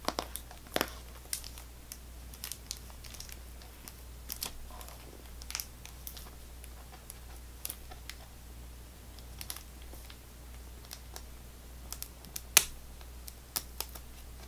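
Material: Cardboard, plastic film.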